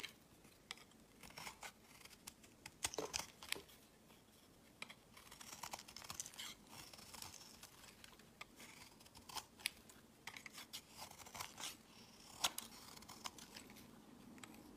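A solid, opaque yellow soap bar is held in the hand and shaved with a utility knife blade into long curls. Quiet, bright, dry scraping and crisp carving strokes come in irregular bursts, with sharp, short clicks and crackles and a faint steady low hum underneath.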